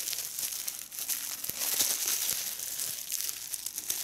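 A small hollow piece of clear, air-filled plastic bubble wrap is held in both hands and squeezed between fingertips with long red nails, while a larger bubble wrap sheet lies untouched beside it. The result is a steady stream of bright, dry crinkling and crackling, with sharp little pops as the bubbles burst and almost no low-end body.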